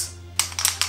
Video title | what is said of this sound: APS CAM MKIII SF Co2 / NEW APS CAM MK3 SF Shell Ejecting / Airsoft Unboxing Review | the only rattling you will hear is from your sling point